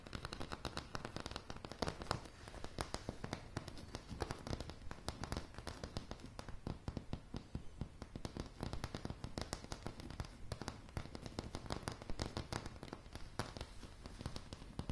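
A solid floor of light pine floorboards is tapped rapidly with long polished nails. The result is a dense, continuous stream of short, dry clicks with very little ring. The clicks blend into a crackling patter over a low, muffled body.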